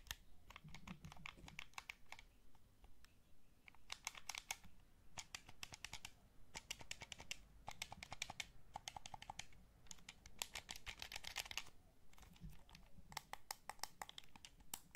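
A black, hollow Sony DualShock 3 plastic controller is held in both hands while thumbs and fingertips press and tap its buttons and sticks. Quick, dry, bright plastic clicks come in rapid bursts separated by short pauses, each click dying away instantly over a soft low rumble.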